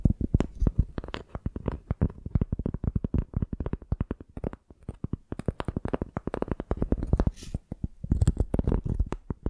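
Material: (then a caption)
Bark. Long painted nails scratch and tap the ridged tan surface of a flat rectangular piece of tree bark held in both hands. A rapid, uneven run of short, dry, low-heavy taps and scrapes with almost no ring, broken by a few brief pauses.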